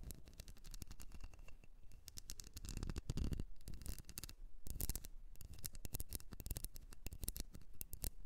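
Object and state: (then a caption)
Wax shell candle. Long nails scratch and tap the ridges of a small, solid blue wax candle shaped like a ribbed seashell. The result is a quiet, steady stream of rapid, dry clicks and scratchy rasps, each tap dying away almost instantly, with a few brief louder swells.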